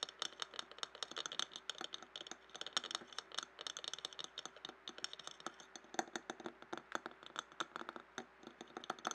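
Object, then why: Glass jar. Fingernails tap and scratch a clear glass jar standing upside down and filled with colored paper scraps. About fifty quick, dry, bright clicks come in a fast, uneven run, each dying away almost at once, with faint scratching between them.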